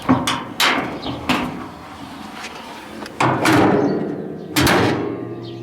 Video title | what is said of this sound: Donald's new wheels; | That's metal, that is solid metal sound. It really is.